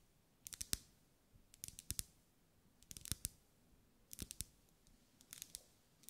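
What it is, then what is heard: Wax pillar candle. A lit pink ribbed solid wax pillar candle is tapped with long acrylic nails. Short, dry, bright clicking taps come in quick bursts of several at a time, with quiet pauses between bursts, and each tap dies away almost instantly.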